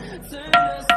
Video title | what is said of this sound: ll Thinthini Pathar ll Ambikapur (Darima) | मटका का आवाज है भाई, एकदम प्योर मटका का आवाज, प्योर मटका